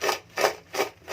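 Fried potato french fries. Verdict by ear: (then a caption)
Crispy. Freshly fried homemade McDonald's-style potato french fries are rubbed and tapped together, giving dry, crunchy, wood-like rasping bursts with no low end. Three distinct scrapes are heard, and a fourth begins as the clip ends. The sound shows the fries are very crispy.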